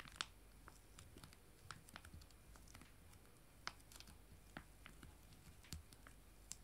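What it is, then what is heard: Foil wet wipe sachets. Two small, full, foil-laminated wet wipe sachets joined together are held in both hands and tapped and scratched with fingernails. Quiet, crinkly scratching is broken up by sharp, bright clicks and ticks over a soft low hum. The taps are short and dry, with no ring after each one.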